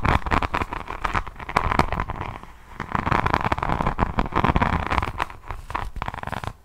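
A notebook with a resin rhinestone diamond painting cover is held in both hands close to the microphone and scratched with long nails. Dense bursts of crunchy, crackling clicks and scratches come in quick uneven runs, with brief softer lulls between them.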